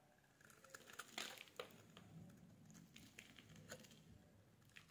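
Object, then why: Solid bar soap. The edge of a solid yellow bar of soap is shaved with a metal blade, making soft, crisp scraping and crackling strokes with bright, sharp peaks. Each stroke fades quickly over a quiet, low background rumble.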